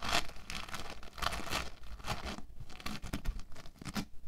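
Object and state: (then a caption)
Foam bead clay. An orange log of foam bead clay is rolled and pressed under flat hands and fingertips on a table. It gives dense, crackly crinkling and tearing-like bursts with bright highs and a soft low rumble underneath, coming in quick repeated waves.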